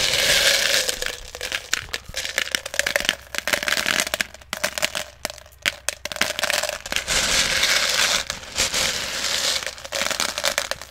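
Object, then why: Small plastic pellets in a plastic jar. Fingers dig into and stir small plastic airsoft BBs in a clear plastic jar that is partly full. The result is a dense, bright rattling crackle of many quick overlapping clicks, with the sound swelling and thinning as the pellets are churned.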